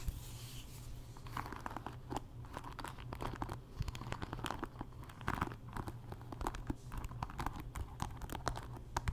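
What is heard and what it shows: Fingernails scratch across a wooden paddle hairbrush, raking over both the wood and its dark bristle pins. Dense, crackly scratching and quick clicking pile up over a steady low hum for about nine seconds.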